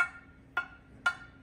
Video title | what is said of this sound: Michael Ryan Bell - CBS VA - Pot Appreciation - February 2024 - Club Meeting - Baikoen Bonsai Club | if there's a crack anywhere, it won't ring. You can hear a tinny sound.